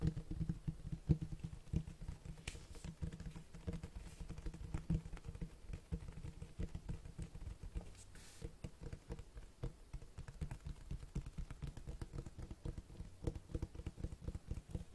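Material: Cloth, board.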